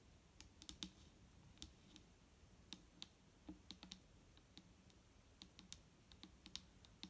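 Long nails tap gently on the label and body of a large, clear plastic micellar water bottle, nearly full of liquid and lying on a wooden table. The result is an uneven run of soft, crisp clicks with bright tops and a faint hollow low note. Each tap dies away almost at once against a quiet background.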